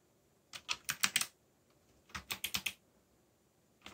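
Fingertips type on a backlit mechanical keyboard with black plastic keycaps and a yellow backlight. There are two quick bursts of about five crisp, bright clacks each, separated by a short pause, and one more keystroke at the very end. Each press is dry and short, with almost no low end.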